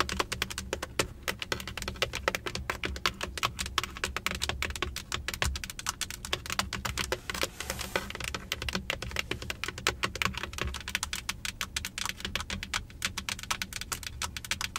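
Long acrylic nails on both hands tap rapidly on the solid, large, fixed plastic centre of a Benz car steering wheel, across the airbag cover and spokes. It makes a dense, continuous stream of short, bright clicky taps that stop instantly with no ring. A faint steady low rumble runs underneath throughout.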